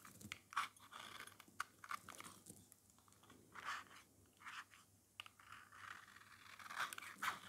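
A metal utility-knife blade scrapes across the surface of an oval, solid, yellow dry soap bar held in the hand, shaving it into thin strands. The result is a series of dry, crunchy scraping strokes with bright, crisp edges and short sharp cracks between quieter rasping passes.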